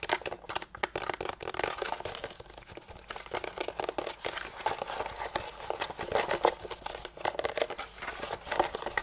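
Fingertips and nails tap and scratch across the molded ridges of a hand-sized, hollow, white translucent thermoformed plastic packaging tray held upright in both hands. The result is a dense run of quick, crinkly plastic taps and scratchy rustles, bright and mid-pitched with almost no low end, each dying away almost instantly.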